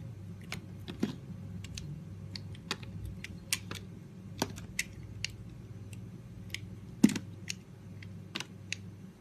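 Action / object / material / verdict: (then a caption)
scrape / bar of soap cut with a metal blade / soap / none. A small, solid red and green strawberry-shaped soap bar is held in the hand and carved with a metal utility-knife blade that slices and scrapes off pieces. Short, crisp, bright cutting clicks and scrapes come in an irregular series, some sharper and louder than others, over a steady low hum.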